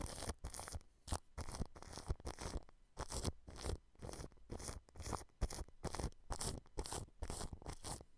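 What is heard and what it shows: A large blue-bristled paintbrush sweeps back and forth across clear plastic cling film wrapped over a microphone grille. Each stroke makes a crisp crinkling, scratchy burst with a bright hiss and a low thumping rumble, separated by brief quiet gaps in a loose, uneven rhythm.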